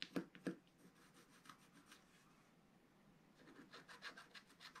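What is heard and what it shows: A wooden stylus scratches short strokes into the black coating at the lower right edge of a flat, wax-coated scratch art sheet. Two sharper scrapes open the clip, followed by a quiet run of dry, rasping strokes with a bright, papery edge. The scratching briefly fades, then returns in a denser burst of strokes at the end.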